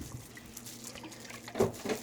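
A large fresh coconut in plastic wrap is shaken, and the water inside sloshes with soft liquid splashes that grow louder near the end. It feels heavy and sounds full of water, making it a good pick.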